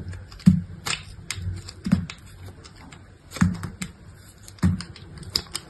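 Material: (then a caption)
Soap. A utility knife blade scrapes and cuts brittle slivers off a small, solid piece of dried soap with a red painted surface and pale interior, held between the fingers at a table. Sharp, dry clicks and snaps with a dull low thump come at uneven intervals, each dying away almost instantly, with faint crackly scraping in between.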